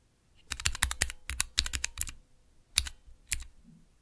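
Fingertips press and tap the clear plastic keycaps of a small 3x3 switch tester, with Cherry MX switches set in a clear plastic base resting on dark velvet. A quick flurry of sharp, bright plastic clicks with a soft low thud under each press is followed by a brief lull. Then come a few more isolated taps.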